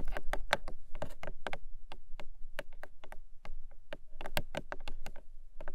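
Long nails tap and scratch the top face of a long, narrow, hollow pink Emi Jay paperboard box. A quick run of short, dry, hollow taps sounds at an uneven pace with faint scratching between them. A steady low hum sits underneath throughout.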